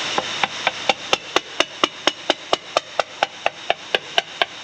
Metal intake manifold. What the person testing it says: that's where the crack is can hear it plain as day